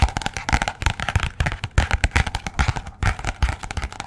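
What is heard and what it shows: Long nails tap fast on the glossy purple front cover of a paperback copy of "Persepolis," held upright near the microphone. The result is a rapid, uneven run of short, dry taps, each a dull low thump with a light crisp click that dies away almost instantly.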